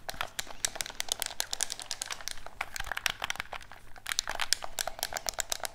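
A black hollow plastic gamepad is held in both hands, tapped with fingertips while its buttons are clicked. Rapid, dry, bright clicks and taps come in a dense stream with no ring, over a faint steady low hum.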